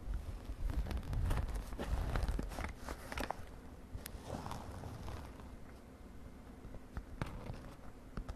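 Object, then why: Glitter-coated synthetic fabric makeup pouch. A mint-green glittery synthetic fabric makeup pouch is held while long nails scratch and tap across it. Dense, low rustling scrapes and soft crackling taps are heavier in the first couple of seconds, then settle into quieter, scattered scratches and light, brighter clicks.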